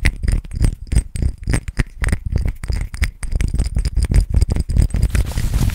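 Fingertips and nails tap and fiddle with a small clear square glass perfume bottle and its silver cap, held in both hands close to the microphone. A rapid, irregular stream of short, dry taps and clicks is heard, with a deep, thumpy body and faint bright glassy ticks, each dying away almost at once.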